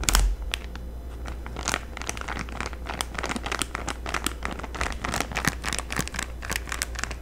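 A flat packaged Halloween banner in a clear plastic bag with a paper header card is held up in both hands while long manicured nails crinkle and squeeze the plastic packaging. Dense, bright crackles and crinkles come in quick, irregular bursts throughout, over a steady low hum.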